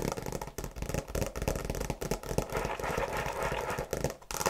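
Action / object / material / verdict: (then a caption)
scrape / faux leather tablet case over a hard shell / faux leather / none. Long nails tap and scratch quickly across the cover of a tablet folio case made of faux leather over a hard shell, with a printed tree design. The result is a dense run of short, dry, scratchy taps with a dull, muted body and almost no ring.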